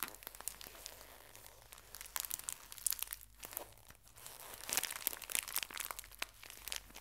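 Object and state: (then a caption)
Plastic-wrapped tissue pack being crinkled. A small, full pocket tissue pack in thin plastic wrap is folded and crinkled by both hands with long nails. Dense, bright, crackly crinkling with sharp snaps runs throughout at a soft level, dips briefly in the middle, then returns in a louder burst.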